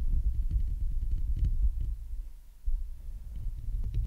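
Long nails scratch the hollow metal mesh grille of a large Blue Yeti microphone, first with one hand and then with both. The result is a dense, low rumbling scrape with faint bright ticks on top. It eases off briefly around the middle, then surges back.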